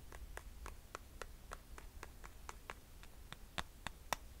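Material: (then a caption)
Glitter synthetic. Long nails tap and scratch the glitter and metallic straps of a rose gold glitter sandal held in a hand. A steady series of short, dry clicks with bright edges rings out over a faint low rumble, with the last few taps sharper and louder.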